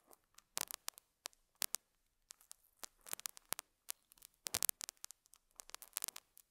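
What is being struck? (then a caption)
Felt pad. A metal dental scaler hook scratches the surface of a small square beige felt pad on a lapel mic. The result is a quiet, irregular run of short, bright, scratchy crackles and rasps with almost no low end, separated by brief silences.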